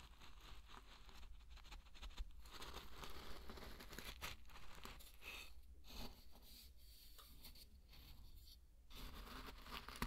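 A thin wooden stick or spatula rakes and stirs through a large loose bed of dry pearl barley grains, scratching and rubbing them. The result is a continuous, dense crunchy rustle of grains with bright crackle over a steady low rumble, easing briefly in a few short pauses.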